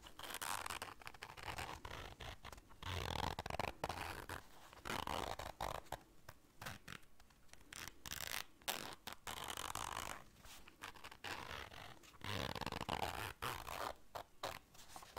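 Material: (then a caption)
Fabric. A small round black fabric zipper case is held in hands while long dark nails zip it and scrape across it. Bursts of raspy, broadband zipping and scratching repeat in uneven waves, some bright and some duller, separated by brief quiet gaps.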